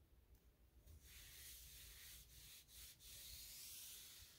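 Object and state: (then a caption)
Painted particleboard drawer being wiped. A soft cloth held in the fingertips is rubbed across the solid panelled drawer front of a light gray painted particleboard nightstand with black metal handles. After a quiet start, a steady, bright, hissing rub begins at about one second and continues to the end, briefly dipping a few times over a faint low rumble.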